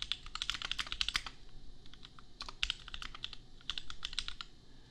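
A compact custom mechanical keyboard with Gateron Milky Yellow switches and red and pink plastic keycaps is typed on with the fingertips of both hands. Quick, bright plastic clacks centered near 3 kHz come in bursts with a brief lull around the two-second mark. Each keystroke stops almost instantly over a faint low rumble.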